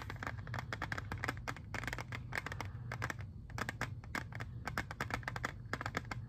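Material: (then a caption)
Plastic. Fingernails tap and scratch rapidly on a clear, hand-sized, hollow plastic CD jewel case holding a disc while it is turned in the hands. Crisp, short clicks and scratchy rasps come in quick clusters over a steady low hum, each tap dying away almost instantly.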